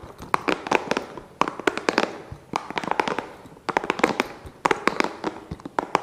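A small, hollow, green spiky rubber massage ball is held close to the mic and tapped and scratched with fingertips and nails. Quick clusters of sharp, dry clicks and crackles come in bursts, with a bright scratchy hiss between them and almost no low end.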